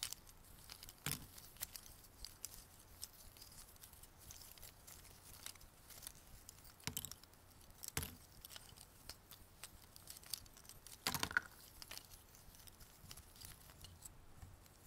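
Fingertips scoop handfuls of small, thin cardboard jigsaw puzzle pieces from a pile in an open white cardboard box, letting them fall back while rummaging and shaking them. The result is a quiet, steady stream of dry, bright pattering and clicking, broken by a few louder rattling spills of pieces.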